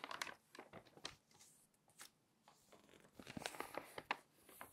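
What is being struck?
Glossy paper magazine.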